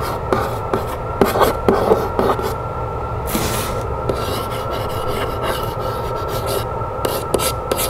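Long fingernails scratch and rub across the flat side of a medium printed cardboard box, making a continuous dry, raspy scraping with sharper irregular scratches standing out. A faint steady tone and low rumble sit underneath throughout.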